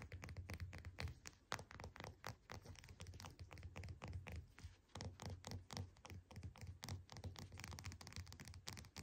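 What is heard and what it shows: Long painted nails tap and scratch the dimpled peel of a whole, solid orange resting on a desk mat. The quick, irregular taps are soft and dull, with a low thudding body and short, dry scratches that die away almost instantly.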